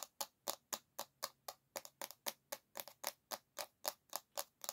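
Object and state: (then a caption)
Bamboo hairbrush back, solid wood. Long nails tap quickly on the solid bamboo back of an oval hairbrush, producing 22 short, dry, bright clicks in an uneven rhythm. Each tap dies away almost instantly, with a faint low hum underneath.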